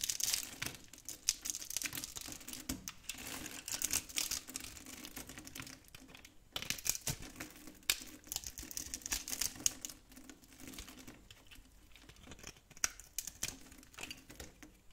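A metal blade scrapes small cubes off a light tan, dry soap bar that is held in the hand and pre-scored in a diamond pattern. The sound is a dense run of quick, dry crackling scrapes and crumbles, almost all bright, high-pitched detail with very little low end. The bursts come in waves over about 15 seconds with brief quieter pauses, and each crisp flake-off dies away almost instantly.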